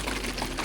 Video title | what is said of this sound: From Novice to Expert: Mastering Hydroponics with a Small Scale System 🌱 | I still hear it rattling, but shake, shake, shake